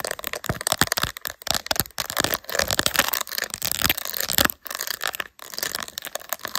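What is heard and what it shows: Long nails tap and scratch across a phone in a clear, glittery plastic case with raised resin gummy bear inlays, mounted on a tripod. The result is a fast, dense stream of bright, crackly scratches and sharp clicky taps with very little low end, broken by a few brief silent pauses.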